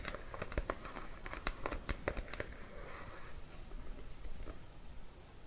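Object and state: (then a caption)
Plastic cream jar. Bare fingertips and nails tap and scratch the flat blue plastic lid and the side of a Cetaphil plastic cream tub, held in the hands beside a mannequin head. A quick run of short, dry clicking taps fills the first few seconds, then gives way to a softer scratchy rustle with a few faint taps near the end.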